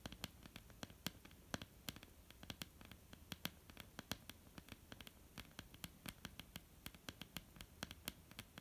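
Long polished nails of both hands tap and scratch on a flat, solid, dark wooden tabletop. Quiet, irregular, sharp clicks with bright high edges come over a soft, continuous scratchy rustle, and each tap dies away almost instantly.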